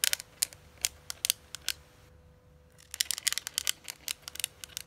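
Long manicured acrylic nails tap and scratch a closed, hollow, hand-sized flat red metallic eyeshadow palette case in the Urban Decay Naked Heat style. Sharp, bright clicks land in quick clusters, pause for a near-silent moment, then return faster and denser. A faint steady tone hums underneath throughout.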